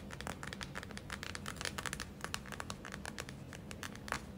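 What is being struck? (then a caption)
Gel-filled plastic eye mask. Long acrylic nails tap and scratch the front surface of a gel-filled plastic eye mask. The result is a quick, irregular run of sharp, bright clicks over a soft crinkly scratching and a low steady hum underneath.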